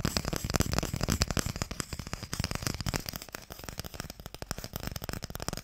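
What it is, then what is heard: Wooden Mikado box. Fingernails tap quickly on the printed lid of a small, long, hollow wooden Mikado box. The taps come as a rapid, uneven stream of dry, short clicks with a hollow low knock and a bright edge, louder for the first couple of seconds and then softer.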